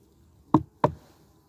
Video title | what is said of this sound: Knock on wood. | you just knock on the hive and if you can hear listen you'll hear him buzz for just a second and then it'll go away